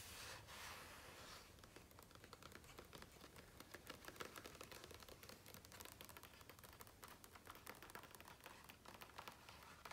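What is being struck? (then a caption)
Glossy paper page of a hardcover book. Both hands tap rapidly with their fingertips on the printed page of a large open hardcover photo book with thick glossy paper pages, with light scratching. The clip opens with a brief, bright papery scratching hiss, then becomes a dense stream of quick, crisp, dry taps that die away almost instantly, over a faint low rumble.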